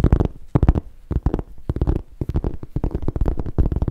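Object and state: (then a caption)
Leather handbag. A metallic gold textured leather satchel, its bottom panel and metal feet facing the mic, is tapped and scratched with fingertips and long nails. Quick clusters of dull, deep, close thumps with a faint scratchy texture come in bursts separated by short quiet gaps, each tap dying away almost at once.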